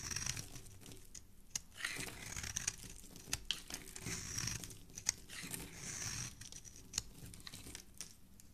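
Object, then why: Bar of soap scraped by a metal blade. A hand-sized, solid rectangular bar of red soap embossed "ELOS" is held in the hand while a metal blade scrapes and shaves its surface. Its flakes fall onto a wooden surface. The result is a steady, bright, crisp scraping and crinkling texture broken by sharp little clicks.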